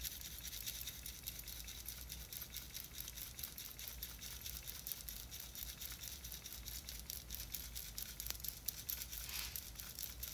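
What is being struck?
Small plastic jar filled with glitter.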